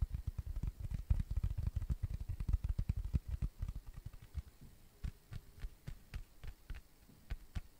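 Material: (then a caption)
Cork. A round, flat, tan cork coaster, thin and solid, is tapped and scratched with fingertips and nails close to the microphone. A fast, uneven run of dull, low, deep thumps gives way to sparser taps with faint brighter clicks, each sound dying away almost instantly.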